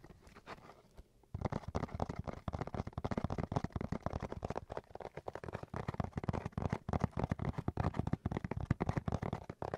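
A cardboard box is tapped and scratched in quick, dense succession: a quiet first second of soft rustling, then a steady run of dull, low, hollow taps mixed with scratchy friction for the rest of the clip. The sound is muffled and bass-heavy, with each tap dying away almost instantly.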